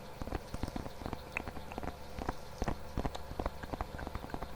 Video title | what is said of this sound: ASMR 🐻 Mic Test + Assorted Triggers (Soft Spoken) | There's something about that like pillowy kind of material.